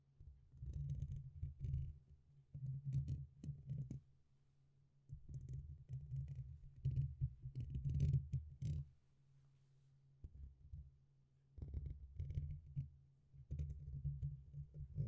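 Fingertips tap the top and then the side of a black, hollow metal mesh microphone grille. Close, muffled thumps dominated by low frequencies come in rapid bursts, with faint bright crackles on top, over a steady low hum. Brief pauses fall around 4–5 seconds and 9–11 seconds.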